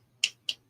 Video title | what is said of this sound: Aloha Friday! Sports and Collectibles Talk RIP: 2024 Heritage High Number Hobby Box | Maybe it's, you know, that sounds like plastic.